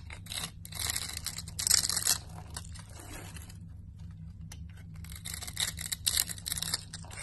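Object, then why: Bar of soap cut with a metal blade. A metal cutter blade scrapes and slices a scored grid pattern into the surface of a solid red bar of soap held in the hand, with crumbs falling away. Bright, crisp scraping and crackling bursts come in rough clusters, with a quieter stretch in the middle over a steady low hum.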